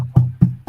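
Knuckles knock three times on a real wooden table or desk surface as a knock-on-wood superstition gesture. Each knock is a short, low, hollow thud with a brief ring. The surface is confirmed to be real wood.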